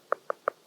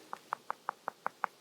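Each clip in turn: First: hollow rock flake. Second: solid rock face.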